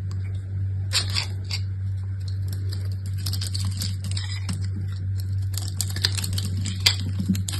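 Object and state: Gold-coated soap bar being scraped.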